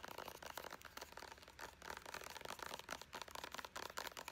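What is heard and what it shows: A soft, hollow, hand-sized white plastic Pacifica body butter squeeze tube is tapped fast and crinkled with long blue acrylic nails. The result is a quiet, steady stream of short, bright clicks and crinkly rustles with almost no ring and little low end.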